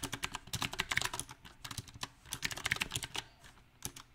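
Fingertips type on a backlit compact mechanical keyboard with round, typewriter-style plastic keycaps on a silver metal frame. Bright, crisp key clacks come in uneven bursts, with short pauses between runs. Each click is sharp and dies away almost instantly.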